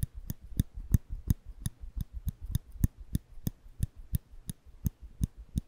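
A small solid steel nail clipper, held flat in the hand over the microphones, has its lever pressed by the fingertips to make repeated clicks. About 18 short, dry clicks come at a steady pace of nearly three per second, each with a low, thumpy body and a bright snap at the top that dies away almost instantly.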